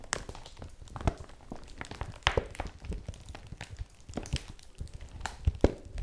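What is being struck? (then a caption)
Woven polypropylene bag. Long nails scratch and tap a folded yellow woven polypropylene bag held in both hands, making crinkling rustles and a scattered series of soft, dull taps. Brief sharp crackles stand out from the quiet, close rustling, and each tap dies away almost at once.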